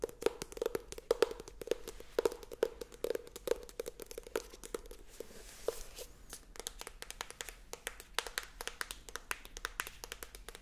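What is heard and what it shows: Very long acrylic nails rapidly tap and scratch the thin card front cover of a medium paperback book, a solid stack of paper held up in the air. Quick, crisp clicks with a slight hollow tone around 450 Hz and bright edges dominate. A softer scratching stretch comes in the middle of the quiet, steady tapping.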